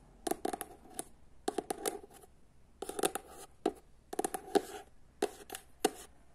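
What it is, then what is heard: Paperback book. Long nails tap and scratch the front cover of a paperback book, then the back cover. Quiet, dry, clicky taps come in quick clusters separated by short pauses, with a light scratchy rasp between them. Each tap stops almost instantly, with no ring.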